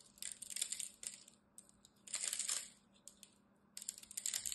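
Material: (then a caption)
Soap. A utility knife blade scrapes and cuts the surface of a solid green rectangular bar of soap held in one hand, chipping off small soap flakes. Crisp, bright scratching and crackling comes in a few clustered bursts separated by near-silent pauses, all soft and high with no low end.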